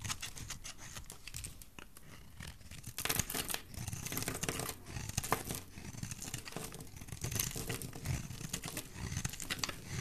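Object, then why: Bar of soap scraped with a metal blade. A metal blade scrapes a solid, rounded, bright green bar of dry soap, piling up shavings. It makes a steady, dry, crumbly rasping with bright hiss and a soft low rumble. The scraping swells into louder passes around the middle and later on.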